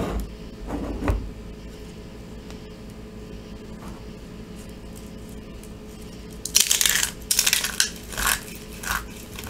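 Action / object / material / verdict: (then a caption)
scrape / pile of soap chunks / soap / none. A pile of crumbled, dry soap chunks in white, purple and orange is squeezed, crumbled and rubbed between fingertips in handfuls over the pile. A few soft crunches at the start give way to a long quiet stretch, then bursts of bright, crackly crumbling and gritty rustling fill the last few seconds.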